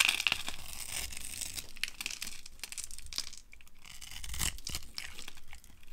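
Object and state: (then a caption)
Dry bar soap carved into crunchy flakes. A utility cutter blade carves grid cuts into a hand-sized solid bar of dry orange soap held in the hand, then scrapes them off as crunchy flakes. The result is a dense run of crisp, bright scraping and crunching with short, sharp clicks and soft low thuds beneath, pausing briefly between passes.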